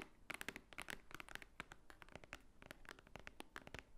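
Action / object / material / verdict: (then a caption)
tap / thick paper book / paper / none. Long nails tap and scratch across the top cover of a large, thick, white-edged book lying flat, its solid paper stack beneath. The result is a rapid, irregular run of short, dry clicks with a bright edge and a faint tone near 2 kHz, mixed with soft scratchy rustling between the taps.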